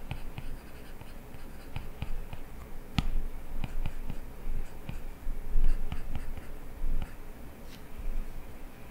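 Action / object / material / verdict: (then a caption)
tap / plastic stylus tip on glass tablet screen / glass / none. A plastic stylus tip scratches short line-art strokes across an iPad's glass touchscreen, with light taps in between. The soft, dry scratches and ticks come in quick bursts over a steady low hum, with one sharper tap standing out about a third of the way through.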